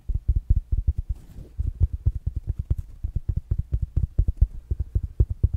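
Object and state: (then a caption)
Fabric-covered smart speaker. A small, rounded black smart speaker with a fabric mesh cover is held up and tapped quickly with fingertips and nails. The taps come as a fast, uneven run of short, dull, low thuds that stop dead with no ring, with a faint soft rustle in one brief gap.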